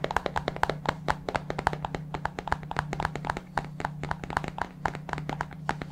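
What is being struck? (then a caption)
Plastic supplement tub. A white plastic supplement tub, held sideways near the mic, is tapped rapidly on its bottom and sides with fingertips. Quick, dry, hollow taps with a mid-pitched knock ring out with almost no decay, over a steady low hum.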